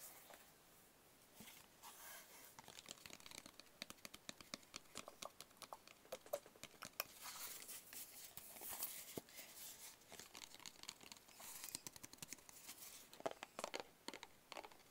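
A small, hollow, closed black cardboard gift box is tapped with fingertips while held and moved in the hands. The clip is a quiet, steady run of many quick, dry taps with crisp, bright crinkling and scraping between them. There is almost no low end and no ring after each tap.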